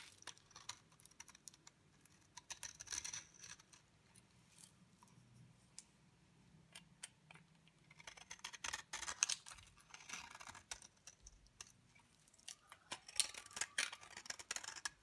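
A utility knife blade shaves curls off the face of a solid, dry yellow bar soap held in a palm. It makes crisp, bright, dry scraping and crackling in repeated bursts, with quiet pauses between strokes. The sound is high and has almost no low end.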